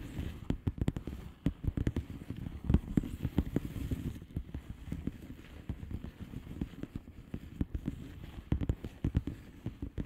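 Long polished fingernails tap rapidly on a flat blue plastic bubble wrap envelope. The result is a dense stream of soft, dull, low clicks that die away almost at once, with scattered louder taps over a quiet, crackly bed.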